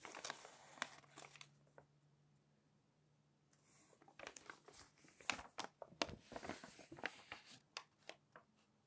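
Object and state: Glossy magazine page being turned.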